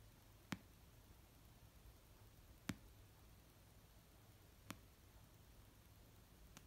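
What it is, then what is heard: Paperback book. An orange paperback novel of solid paper rests on a blanket and is tapped and lightly scratched with nails and fingertips. Four quiet, slow, widely spaced taps stand out over a soft hiss, each a short, dull low knock with a brief bright click that dies away almost at once.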